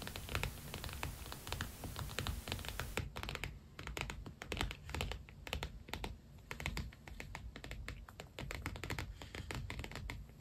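Fingertips and nails rapidly tap and scratch on the padded cover of an iridescent holographic PU leather binder planner lying flat. The result is a dense run of short, dry clicks and scratchy taps that die away almost instantly, over a steady low hum.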